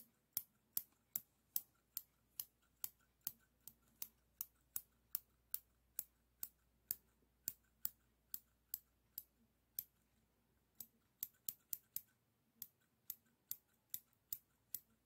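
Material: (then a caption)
Stainless steel. Small, solid stainless steel straight scissors are held in the fingers and snipped open and closed on nothing, so the metal blades rub and click together without cutting any material. About 34 sharp, bright, very short clicks come at a steady pace with a brief pause near the two-thirds mark, over a quiet, faint background.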